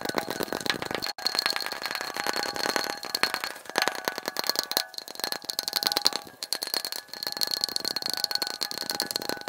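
A glass light bulb is tapped in rapid, continuous bursts, with the clip sped up to double speed. The taps are bright, dry clicks with a thin, high glassy ring, broken by short pauses just after 1 second, near 5 seconds and around 7 seconds.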